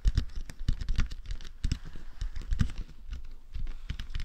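Fingertips tap and lightly scratch the sides and forehead of a matte black, hollow, hard plastic dummy head microphone. The result is a rapid, irregular run of soft, dull, low thumps with faint scratchy rustles, each tap dying away almost instantly.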